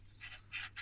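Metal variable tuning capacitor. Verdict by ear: Broken.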